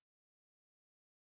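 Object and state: Nothing is struck.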